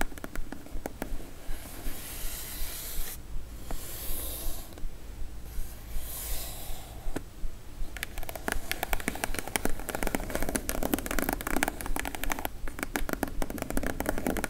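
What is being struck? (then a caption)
Corrugated cardboard box. Long stiletto acrylic nails scratch and tap the top of a small, plain brown, hollow corrugated cardboard shipping box resting on a dark table. For the first eight seconds, slow, breathy scratching strokes sweep across the surface. After that, a dense run of quick, dry, clicking taps follows.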